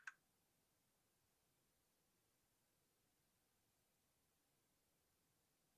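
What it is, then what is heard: Plastic mechanical keyboard. A single key on a white Rexus Daiva South Facing 65% 68-key gaming mechanical keyboard, with a plastic case, RGB lighting and a green coiled cable, is pressed with a fingertip. It gives one short, bright click centred around 1.6 kHz that dies away almost instantly, followed by nearly silent low hiss for the rest of the clip.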